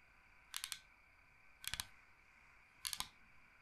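Long painted nails tap and scratch the face of a large, flat, solid bamboo cutting board shaped like Michigan. Three short bursts of quick, bright clicking taps stand out over a steady low hiss, each dying away almost at once.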